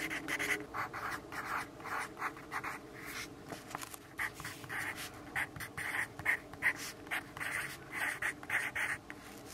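A yellow graphite pencil writes steadily across a lined paper notepad resting on a wooden desk and held by the left hand. Its dry, scratchy strokes come in quick, bright bursts centered around 2 kHz, with almost no low end and no lingering ring between strokes.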